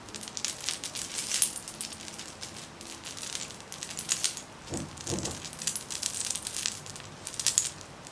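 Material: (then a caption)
Metal. Long manicured nails tap and jiggle a silver metal charm bracelet with many beads and charms worn on a raised wrist. The charms clink in quiet, bright, metallic jingles and taps that die away almost at once, with a brief softer, lower rustle near the middle of the clip.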